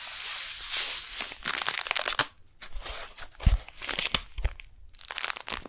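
Long nails tap and scratch a flat brown kraft paper package with a beeswax wrap inside, held vertically and then horizontally. Dry, bright crinkling and scratching fill the clip in uneven bursts, broken by short quiet gaps and a few low, dull taps.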